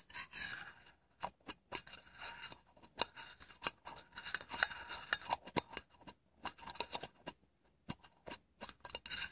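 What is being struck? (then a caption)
Small round metal tin. Fingernails tap and scratch the edge of a small, plain, hollow round metal tin held tilted in the hand. The result is a quick, irregular run of bright, dry clicks and scratchy rasps with almost no low end, each fading almost instantly, broken by short silent pauses.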